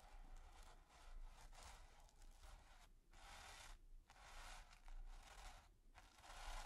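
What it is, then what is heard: Stiff brush scratched on textured canvas. A stiff natural-bristle brush is rubbed and scratched across a flat, taut, textured primed canvas. It makes a steady, dry, bright scratching rasp in repeated back-and-forth strokes, with brief gaps between some passes. The level stays quiet and close throughout.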